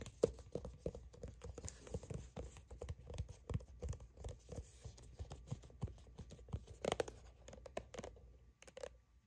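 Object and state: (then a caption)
Plastic sunscreen tube. Long acrylic nails tap and scratch the front of a plastic sunscreen tube while hands grip it, producing a quick, steady run of soft, dry clicks and scrapes. Each tap is short and muted with a low body and a faint hollow plastic tone. Grip and crinkle noise sits between the taps.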